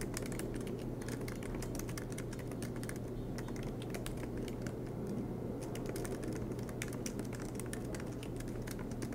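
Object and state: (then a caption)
Laptop keyboard being typed on. Fingertips of both hands type rapidly on the black plastic keycaps of an aluminium MacBook Pro laptop resting on a desk mat. A dense, continuous stream of quick, bright key clicks sits over a steady low hum.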